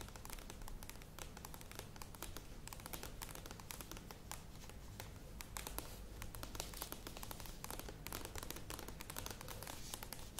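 Long nails tap and scratch fast on a medium plastic yogurt tub with a lid, standing on a table. Quick, dense plasticky clicks blend with bright scratching at a steady, quiet level over a low, hollow undertone, and the sound never pauses.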